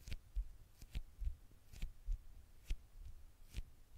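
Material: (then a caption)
Glass. Long nails tap and scratch the dark glass screen of a small, flat smartphone held in one hand. Quiet, irregularly spaced taps land as dull low thuds, each with a brief bright click that dies away almost at once, over a soft low rumble.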